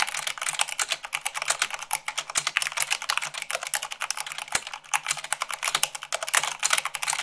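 Fast typing with both hands, using long pink-painted nails and fingertips, on a full-size mechanical keyboard with white plastic keycaps on a black base, at about 98 words per minute. A rapid, steady stream of short, sharp, bright clicks and clacks with almost no low end, each keystroke dying away almost instantly.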